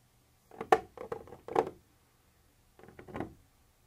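A black pointed pointer tool lightly taps and scratches a white textured plastic surface, apparently the wall of a hollow container. Quick clusters of short, dry clicks and scrapes sit mostly in the mid range with bright edges. A burst of taps is followed by a pause and then a softer second burst, with each sound stopping almost instantly.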